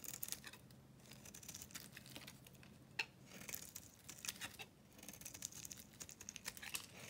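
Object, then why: Dry bar soap scraped with a metal blade. A hand-held dry bar of solid soap, blue coated over with pink paint, is scraped and shaved with a metal knife blade. Bright, crisp scratching and crackling strokes come in quick bursts with a few sharper snaps, while flakes of soap fall away.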